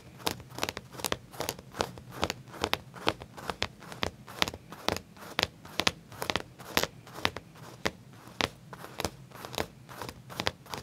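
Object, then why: Leather pants. Fingertips and short nails scratch and rub along the back pocket edge of black leather pants laid flat; the material is soft and thin. A steady run of quick, dry, crackly scratches sounds, each short and bright with almost no ring, over a faint low hum.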